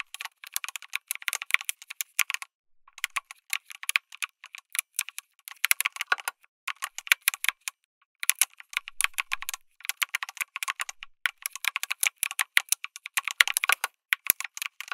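Fingertips type continuously on a backlit mechanical keyboard with plastic keycaps, an FR4 plate and tactile switches. Rapid bright, clacky keystrokes with very short decay and almost no low end come in bursts, with brief pauses near 2.5 and 7 to 8 seconds.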